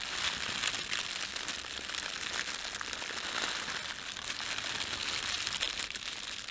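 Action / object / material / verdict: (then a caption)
scrape / thin plastic bread bag / plastic film / none. Fingertips rub and crumple a thin red printed plastic bread bag laid over a white plastic bag. A continuous, bright crinkling with dense crackles runs at a steady level throughout, with almost no low end.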